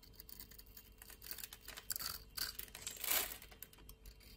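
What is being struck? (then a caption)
Bar of soap. A utility blade scores a solid white soap bar held in a hand with long nails and scrapes off flaky crumbs. The result is a quiet, bright, dry scraping made of rapid crackly strokes that build to a louder, hissier scrape about three seconds in before fading.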